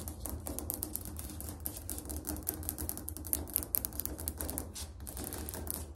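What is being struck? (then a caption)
Ceramic floor tile tapped with fingernails. Fingernails tap rapidly on a ceramic tile floor, making a fast, continuous series of hard, sharp clicks with a low background hum underneath.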